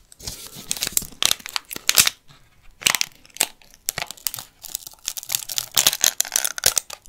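Fingernails scratch the dry, papery outer skin of a whole, solid yellow onion held close to the microphone, then begin pulling at it. The result is a series of bright, crisp crinkling and tearing bursts with almost no low end, separated by short quiet gaps.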